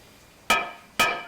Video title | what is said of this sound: [화면해설방송] 사운드멘터리 풍경소리3 - 보령, 시간의 흔적 | 저기 맑은 소리가 나. 이건 아무 병이 없다는 거.